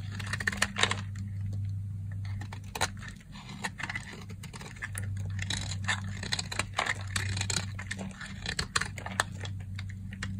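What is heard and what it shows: A box-cutter blade shaves crumbly flakes off the edge of a solid, dry, cream-colored soap bar held in the hand. Many short, crisp scraping clicks and crackles sound in quick bursts, bright and dry with almost no ring. A steady low hum runs underneath.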